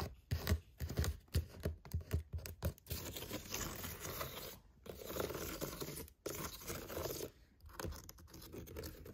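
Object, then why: Woven seagrass basket. Long painted fingernails scratch over the woven surface of a large, hollow picnic basket made of seagrass or water hyacinth, fitted with leather straps and brass studs. Quick, separate dry scratches with a low hollow thump come first, then longer, continuous rasping strokes broken by short pauses.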